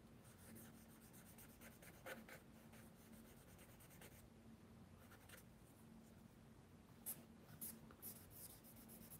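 Fingertips rub and blend charcoal across a large flat sheet of mixed media paper in a spiral sketchbook holding a charcoal drawing, while the other hand holds a pencil idle. Quiet, continuous dry rubbing and scratching is heard over a faint steady low hum, with a few brief, brighter swipes standing out near the end.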